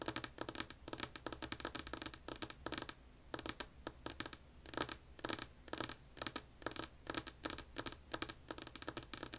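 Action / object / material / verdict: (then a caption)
tap / wooden tabletop / wood / none. Long polished nails tap a solid, flat, light wood-grain tabletop with both hands, making rapid clusters of crisp, bright clicks with almost no ring. The bursts come in quick flurries separated by brief pauses, over a faint steady low hum.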